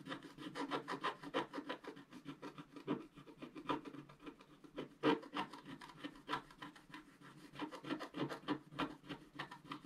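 A wooden stylus scrapes plant details into a flat, black-coated scratch art paper sheet lying on a white table. Quick, dry scratching strokes repeat at an uneven, rapid pace with a raspy, rubbing texture. Each stroke is short and soft, with no ring after it.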